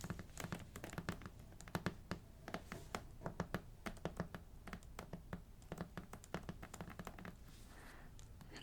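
Fingernails tap rapidly on a hardcover art book with a shiny, glossy dust jacket. The clip carries a steady stream of quick, crisp clicks with a dull, low body under each tap and very little ring, which makes for soft, pleasing tapping.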